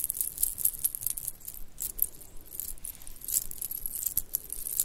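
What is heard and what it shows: A small stretchy bracelet of pink shell chips, white round beads and silver metal spacers is held in both hands and shaken with long painted nails. The pieces jingle and click against each other in quick, irregular bursts of bright, high clatter with very short ring, over a faint low background.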